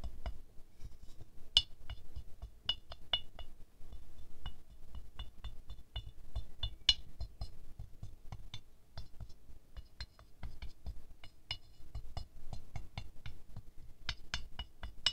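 A wooden stick taps the side and top petals of a small silver-glazed ceramic rose figurine, fast and then slow. Each tap gives a short, bright clink with a high ringing overtone near 2.9 kHz over a low, dull knock.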